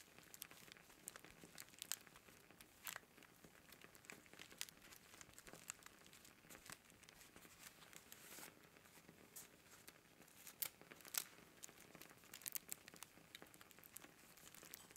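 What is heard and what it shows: A dried white sage smudge stick, bound with string and held upright, is rubbed and crinkled along its length by fingertips. The dry leaves give a quiet, bright, continuous crackle. Sharp papery snaps stand out against a soft rustle, with almost no low end.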